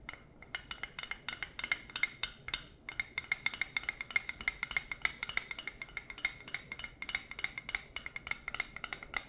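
A wooden spoon or spatula with a solid flat head, held in a fursuit paw, is tapped repeatedly with plastic claws. The result is a steady run of dozens of quick, dry, bright clicks with almost no ring and a faint tonal edge around 2.1 kHz.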